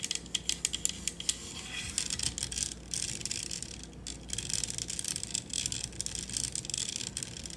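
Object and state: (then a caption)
Metal USB microphone. Long acrylic nails tap along the body of a black matte metal USB studio microphone and scratch across the metal mesh grille at the top. The result is a run of sharp, bright clicks that blur into dense, hissy scratching, with almost no low end and no ringing after each tap.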